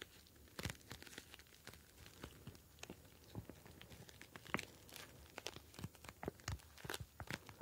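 A clear plastic gel bead ice pack, a pouch filled with blue gel beads, is kneaded and pinched with fingertips. The beads shift inside it. This gives quiet, irregular crinkling and crackling, with many short, sharp, bright clicks over a low, soft rustle.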